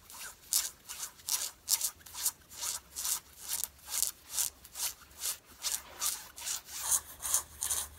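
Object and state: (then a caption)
Denim jeans being scratched. Long fingernails of both hands scratch worn light-blue stretch denim jeans on the thighs, the soft fabric lying over the body. About 19 bright, hissy scratching strokes come in a steady back-and-forth rhythm, a little over two per second. Each stroke is quick and dry with no ring, and there is almost no low end.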